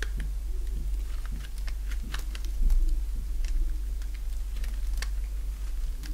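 A solid bar of dry yellow soap, held in the hand, is shaved with a box-cutter blade. Irregular short, crisp scraping and cutting crackles sound over a steady low hum, with a slightly louder stretch near the middle.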